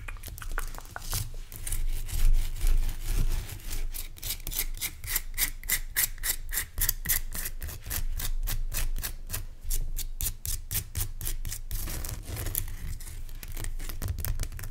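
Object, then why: Rock salt crystal lamp. Fingernails scratch and tap the solid, rough crystal surface of a large pale rock salt lamp. The result is a rapid, somewhat irregular series of short, dry, bright rasping strokes over a steady low rumble.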